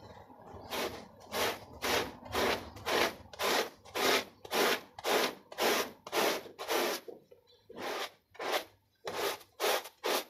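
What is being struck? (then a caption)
Small soapy textile pile rug scrubbed with a plastic bristle brush. A handheld plastic bristle brush scrubs a small, soapy, foot-shaped textile pile rug in quick back-and-forth strokes. Each stroke makes a wet, bright, scratchy rasp, and the bursts repeat at a steady pace with short pauses between them.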